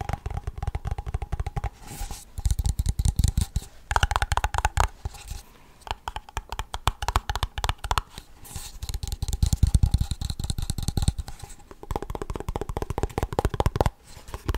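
A small Blue Bell ice cream cup with a lid, made of hollow waxed paperboard, is held in both hands and tapped and scratched with fingertips and nails. Rapid dull, low, hollow taps mix with dry scratching and scraping in dense bursts separated by short quieter pauses.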